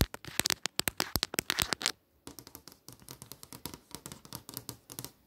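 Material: Glass.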